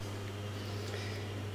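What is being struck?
Nothing is struck.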